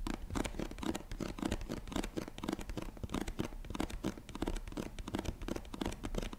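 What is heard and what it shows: Long nails rapidly tap and scratch the flat face of a medium-size printed cardboard product box, likely filled. The result is a dense, steady stream of dry, soft, hollow taps with a low body and short scratchy strokes, each one dying away almost instantly.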